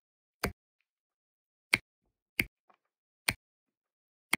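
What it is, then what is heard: Resin drills tapped onto adhesive diamond painting canvas. A plastic drill pen with a wax tip taps blue resin drills down onto an adhesive diamond painting canvas. Five short, bright clicks ring out with near silence between them, each fading almost instantly, and a faint tiny tick falls between the third and fourth.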